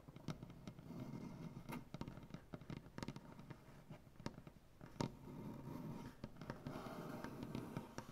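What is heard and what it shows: Fingers with black-painted nails tap and scratch on a solid maple butcher block tabletop, near a crack in the wood. Quick, dry, low-pitched knocks ring out and fade fast, with a soft scratching hiss running between them.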